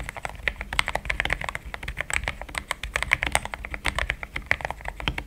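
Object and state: Mechanical keyboard with plastic keycaps.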